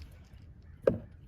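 A Dodge Dart's nearly empty fuel tank is shaken, giving one short, dull slosh that stops almost at once, with a quiet low rumble before and after. The brief slosh means the tank is low and it is time to buy more fuel.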